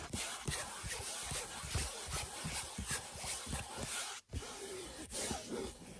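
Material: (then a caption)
Canvas. Fingertips and nails rub and scratch back and forth over a large printed canvas picture lying flat. A dense, broadband scratchy rasp comes in repeated strokes with soft low thumps, broken by a brief near-silent pause partway through before the scratching resumes.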